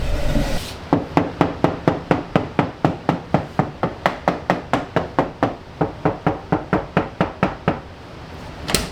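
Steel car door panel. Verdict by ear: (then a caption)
Hollow. Knuckles rap a rapid, steady run of nearly thirty knocks on the bare steel front door panel of a BMW E30 that has no sound deadening. Each knock is a short, hollow, clanky tap with a brief ring, ending in a brighter final knock. The door sounds resonant and hollow rather than a solid thud.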